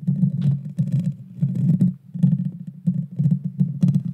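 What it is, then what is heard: Metal microphone grille being scratched. Long dark fingernails scratch and tap the hollow metal mesh grille of a Blue Yeti Nano microphone. The result is a dense, boomy low rumble in repeated bursts, with faint bright crackles riding on top and short gaps between passes.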